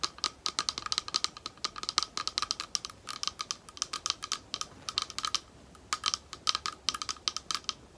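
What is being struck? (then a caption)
Small thick clear glass bowl. A small, thick, clear glass bowl, hollow and empty and held close, is tapped on its base with long nails. Dozens of quick, bright, clicky taps come in uneven bursts and pauses, each carrying a faint glassy ring around 1.25 kHz that dies away almost instantly.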